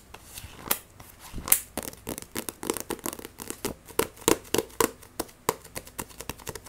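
Fingernails tap and scratch quickly across the spine and glossy cover of a paperback Akame ga Kill vol. 1 manga. The sound is a fast, irregular run of crisp, bright clicks and short rasping scrapes. Each one stops almost instantly, with no ring.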